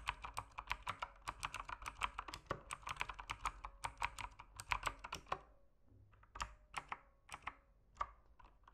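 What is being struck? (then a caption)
Mechanical keyboard with plastic keycaps. Fingertips type on a backlit mechanical keyboard with plastic keycaps, producing a fast run of short, clicky keystrokes with sharp, bright transients and a dry, quick decay. The typing is dense for about five seconds, then slows into sparser, separated key presses.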